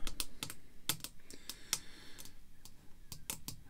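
Long red fake nails tap rapidly across the surface of a small clear acrylic screw-down holder with a baseball card inside. The result is a quick run of sharp, bright clicks that die away almost instantly, with a faint low hiss between them.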